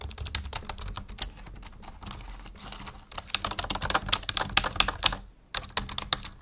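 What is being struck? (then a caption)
Plastic membrane keyboard. Fingertips type on the letter and arrow keys of a black full-size plastic membrane keyboard resting on a wooden desk. The result is a fast, uneven run of short, bright plastic taps, softer and denser at first, then sharper and louder. A brief pause comes just past five seconds before a few more keystrokes.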